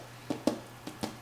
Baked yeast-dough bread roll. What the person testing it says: You should be able to tap on them and know that they sound hollow, the bread is done.